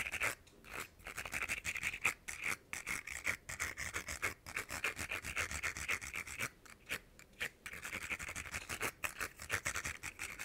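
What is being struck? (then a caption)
Hollow ribbed plastic caterpillar toy. Fingernails scratch quickly along the ridged segments of a small, hollow, ribbed plastic rainbow caterpillar fidget toy held in the hand. The result is a bright, dry rasping texture of rapid, densely packed scrapes, broken by brief pauses, with a faint squeaky edge and almost no low end.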